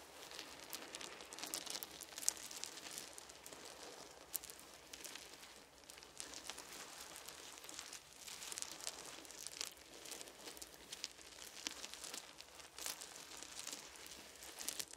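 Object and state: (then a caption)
Wooden beads. Fingertips grip and squeeze a pile of small, solid wooden beads resting on a soft blanket, then one open hand spreads and sweeps them across it. The result is a quiet, steady stream of dense, bright clicking and crackling rattles with almost no low end. Each tiny tap dies away instantly.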